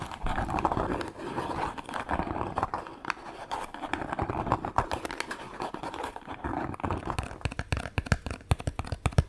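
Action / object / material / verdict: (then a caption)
tap / small cardboard soap box / cardboard / none. A small, hollow, printed cardboard soap box is held close and tapped and scratched with long nails. Dry, hollow taps and scratchy rustling come through as a quick run of short, clicky hits. The taps grow sharper and denser toward the end.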